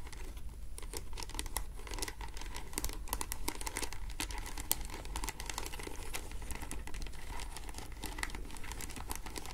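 Long acrylic nails scratch and tap across a hollow vintage clutch bag woven from translucent faceted glass or acrylic beads in pink, clear, green, orange and grey in a flower pattern, held up in both hands. A steady stream of quick, bright clicks and crinkly scratches continues throughout with no pauses.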